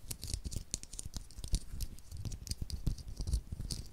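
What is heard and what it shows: A small, solid 9-volt battery with a copper and black metal-wrapped casing is held in the fingers just above a stereo microphone while fingertips and short nails rub, scratch and tap its sides and terminals. The result is a quick, irregular stream of dry taps and scratches with heavy low, close-up thumps and brief bright clicks that die away almost at once.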